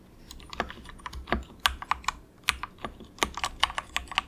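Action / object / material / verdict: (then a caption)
tap / plastic mechanical keyboard / plastic / none. Fingertips of both hands softly type on a cheap compact mechanical keyboard with grey and orange plastic keycaps and a hollow plastic case, pressing keys in quick taps. About twenty sharp, bright plastic clacks come in an uneven rapid stream, dry with almost no ring and little low end.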